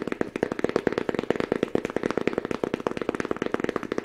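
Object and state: Fabric-covered book.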